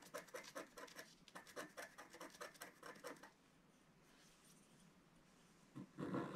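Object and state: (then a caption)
Scratch-art paper sheet. A wooden stylus scratches away the coating of a flat, black-coated scratch-art card lying on a table in small strokes, making a rapid series of about twenty short, dry, bright scratches. The scratching stops for a quiet pause, then a louder, fuller scratch burst closes the clip.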